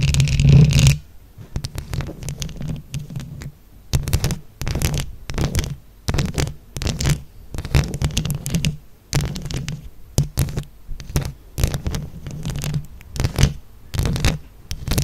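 Long acrylic nails of one hand, held close, scratch a round microphone head covered in plastic flower buttons. After a loud opening burst, the clip is a steady run of short, irregular scratching bursts. Each burst is a muffled, low, rumbling thump with bright clicky edges, separated by brief near-silent gaps.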